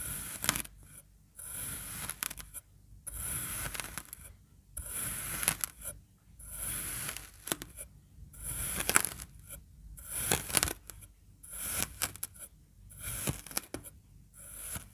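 A serrated edge of a long bread knife repeatedly slices through a flattened disc of pink kinetic sand scored in a diamond pattern, a solid mass, with the microphone clipped to the knife handle. Each stroke gives a bright, gritty scrape and crunch with a faint low thud underneath, separated by short quiet gaps in a steady rhythm.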